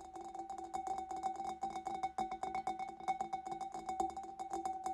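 Fingers and nails tap rapidly on the back and sides of a large, hollow, empty clear glass fish bowl. The result is a dense stream of short, bright clicks, each carrying a brief ringing glassy tone around 780 Hz that fades within about a tenth of a second.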